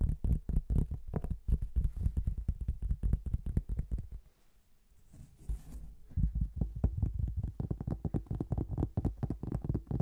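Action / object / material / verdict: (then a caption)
tap / thin cork tile / cork / none. A thin, flat marbled cork tile, partly held horizontally above the microphone, is tapped rapidly with fingertips and nails, making dense, dull, low thuds with almost no ring. The tapping pauses for about two seconds, with a faint brushy hiss near the pause's end, then resumes at the same quick pace.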